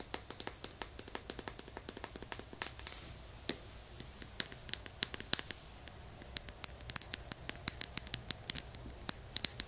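Fingertips and nails scratch and tap along a small hollow plastic lotion bottle with a green cap, held close to a binaural mic. Dense, very short clicks and scrapes with bright, high crackle follow in an irregular stream over a quiet background, growing busier and sharper toward the end.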